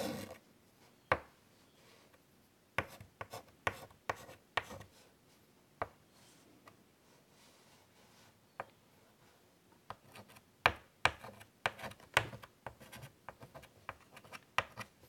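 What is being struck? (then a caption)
Chalk on a wood-framed chalkboard. White chalk draws short detail strokes on the surface of a large wood-framed chalkboard. Brief, bright scratching taps come in irregular bursts separated by quiet pauses, each stroke dying away almost instantly.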